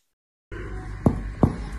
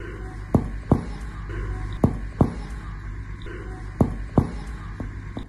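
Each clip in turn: First: Two soft, low thuds of finger percussion on the chest, fairly hollow and brief: the clear resonant note of lung. Second: Paired low thuds, short and flat with no ring: a dull percussion note over the solid liver.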